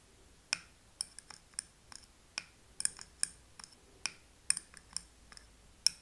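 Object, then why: Wax-filled glass candle jar. A thin metal pick taps and scratches the rim of a small glass candle jar filled with wax, with a paper label on the front. The result is a series of sharp, bright clicks and short scrapes that stop almost at once, with almost no low end.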